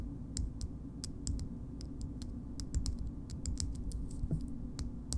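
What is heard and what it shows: Long nails tap on the side and label of a small pink frosted glass cream jar with a gold lid. The taps come as irregular, short, bright clicks that die away almost instantly, over a steady low rumble.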